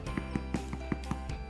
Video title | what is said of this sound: Bread Making 101 - Easy No Knead Bread Recipe | it should sound hollow that's how you know it's done